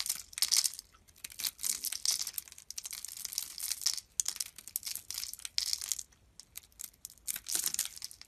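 A small, solid yellow soap piece carved into a rose is held in the fingers while a utility knife blade scrapes and shaves thin curls off it. Bursts of bright, dry scraping and crisp crackling come in quick runs with short pauses between, each stroke dying away at once.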